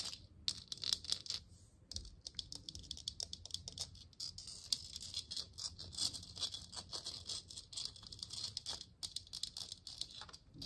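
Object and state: Plastic moon lamp sphere.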